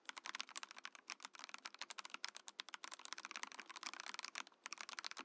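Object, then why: Plastic mechanical keyboard. Rapid fingertip typing on a compact Mojo68 Mojopad mechanical keyboard with a translucent plastic case and plastic keycaps gives a steady stream of short, bright plastic clacks. Each keystroke stops almost instantly, with almost no low-end thump.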